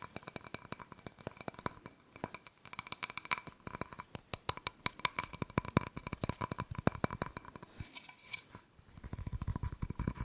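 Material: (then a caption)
Ceramic. Fingernails scratch and tap the glazed front of a small, round, floral ceramic decorative wall plate with a purple ribbon hanger, then the plate is turned over to its back. A steady run of quick, dry clicks and scraping strokes carries a faint, thin glassy tone that dies almost instantly. Near the end there is a brief shuffling pause as the plate turns, followed by denser, lower scratching.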